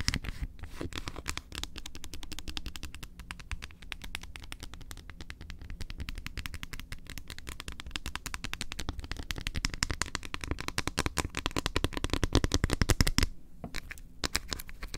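Long acrylic nails tap rapidly on the surface of a large, flat, solid almond milk chocolate bar. The result is a dense, irregular stream of short, crisp clicks with a dull low body. The tapping grows slightly louder toward the end before a brief pause and a few final taps.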